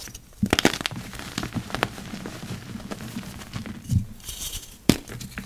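Two yellow rubber-gloved hands squeeze and crush a heap of purple-dyed gym chalk, a dry, crumbly powder with chunks. A quick run of sharp, dry crackles and crunches opens the clip, followed by softer gritty crumbling with a dull thump near four seconds and one last bright snap near the end.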